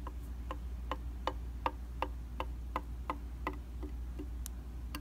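A round glass mirror in a white plastic frame, a solid flat surface, is tapped repeatedly with a rubber- or silicone-tipped tool held in the fingers. The result is a steady series of short, dry ticks with a clicky tone around 900 Hz that stop almost at once, over a constant low hum.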